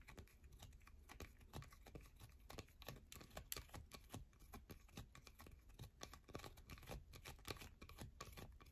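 A solid yellow bar of soap held in both hands is scratched and tapped quickly with long nails. Quick, dry, clicky taps and scratches come in a steady rapid run with a bright edge over a low background hum. Each sound stops at once with no ring.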